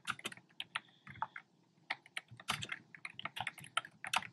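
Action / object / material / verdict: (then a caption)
tap / plastic keyboard with round plastic keycaps / plastic / none. Fingertips with short nails tap the hollow keys of a black plastic keyboard fitted with round, retro-style plastic keycaps in cream, pink and red. The result is a quick, uneven run of bright, hollow plastic clicks, with a brief pause partway through. Each click is short and dry, with almost no low end.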